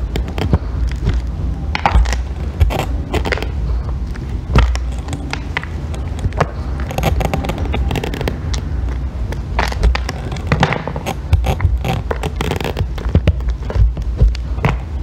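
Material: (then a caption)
Soap. A thin metal blackhead-remover tool shaves curled strips off a solid pale green bar of soap resting on a white board, held by fingers with long red nails. Repeated crackly, scraping strokes sound over a steady low rumble, with sharp, bright ticks as the blade bites and the curls peel away.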